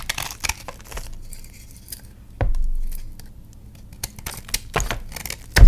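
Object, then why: Chalk block scraped with a knife. A patterned knife blade scrapes and shaves a palm-sized solid block of reformed purple gym chalk held over a tray of chalk crumbs, making the chalk flake and crack. Short dry scrapes and crisp crackles come in bursts, with a heavier scraping stretch partway through and a loud crunch at the very end.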